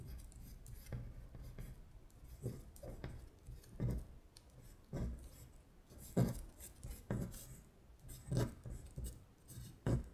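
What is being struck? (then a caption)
Paper worksheet traced with a long fingernail. A long acrylic nail traces and scratches over the words on a flat paper worksheet listing the months in Korean. Quiet, dry scratching strokes come in a steady run, each with a soft low body and a bright papery rasp, fading quickly between strokes.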